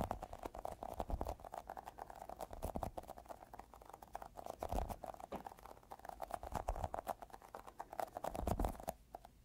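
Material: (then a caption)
Rubber. A small, solid, yellow sticky squishy Globbles ball is held in the fingers and tapped and pressed with short fingertips. Rapid, dense, soft sticky taps and little peeling clicks carry a steady mid tone near 730 Hz over low, muffled thumps. The tapping continues unevenly throughout and thins out near the end.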